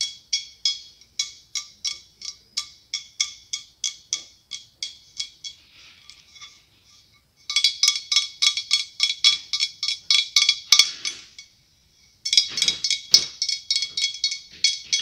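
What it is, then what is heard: Glass pumpkin. A large, hollow white blown-glass pumpkin is held up and turned while being tapped with long acrylic nails. Quick, bright glassy clinks come in three runs separated by short pauses, each tap ringing briefly with a high tone over a faint lower one near 1.1 kHz.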